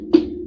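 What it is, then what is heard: Laptop with aluminum casing, not wood. A single knock on a laptop's casing, made in place of knocking on wood, gives a short, dull, hollow tap centred around 320 Hz that dies away almost at once. It sounds metallic, like aluminum rather than wood, over a steady low hum.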